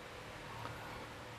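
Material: Nothing is struck.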